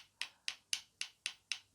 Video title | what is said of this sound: How to Carve a Spoon - Part 3 - Finishing Cuts | you can hear that difference in it compared to more of a thud of what you'd have if it was a very wet wood still or very green wood